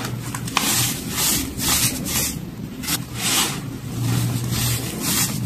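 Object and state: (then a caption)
Crumbled baking soda being crushed. Two hands with pink-painted nails squeeze, crush and rub handfuls of a large loose pile of white crumbled baking soda chunks and powder on a dark surface, with pink baking soda balls left untouched around the edge. Soft, bright crunching and rubbing swells in repeated bursts over a steady low hum.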